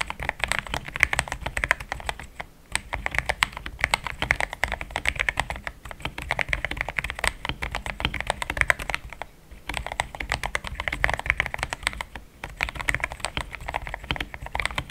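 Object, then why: Plastic mechanical keyboard. Fast typing with the fingertips of both hands on a compact pink-white mechanical keyboard with thick plastic XDA keycaps, a polycarbonate plate and linear switches, resting on a desk mat. A dense, steady stream of short, dry plastic clacks with a bright mid-high tone and almost no ring, broken by brief pauses near 2.5, 9 and 12 seconds.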